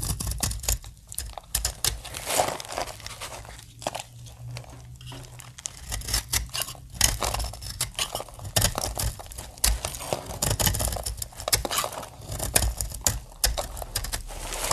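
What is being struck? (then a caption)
Bar of soap. Scored flakes on the face of a solid green dry soap bar are pressed and cracked off with fingertips and a blade, with the shavings piling up below. Dense, dry crackling and crunchy snaps come in quick, uneven bursts, with bright crisp edges over a low rumble.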